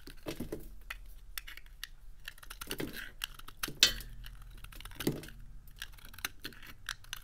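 A metal utility blade slices crisp, brittle pieces off a small, dry, solid white soap bar with a silver painted coating, held in the fingertips, with soap crumbs on the table. The cuts make a steady run of short, bright, crackling clicks and scrapes, with two sharper snaps standing out partway through. Each sound stops almost at once against a quiet background.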